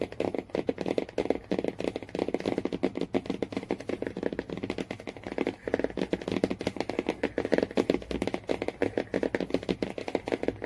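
Fingernails tap and scratch rapidly on the cover of a hardcover Jungle Book children's book lying flat, made of cardboard covered in printed laminated paper with a yellow cloth-like spine. The sound is a dense, continuous patter of quick, dry clicks and scratchy strokes, centered in the mid-range with little bass or brightness. Each tap dies away almost instantly.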